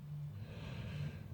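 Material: Nothing is struck.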